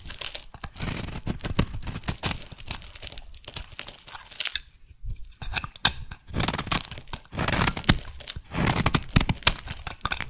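A metal blade shaves a solid rectangular lilac soap bar, scraping and cutting thick flakes that break off. Dry, crisp scraping and crunchy, tearing rasps come in quick bursts with bright, hissy edges. They pause briefly near the middle, then return in louder passes.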